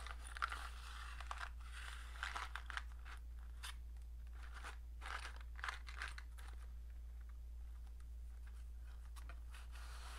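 A small rectangular printed cardboard matchbox with a red and green label is held and turned in the hand while long painted nails scratch along its sides and ends. Quiet, dry scratching and crinkly rasps come in irregular bursts over a steady low hum.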